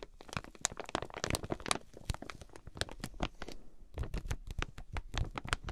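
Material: Plastic film.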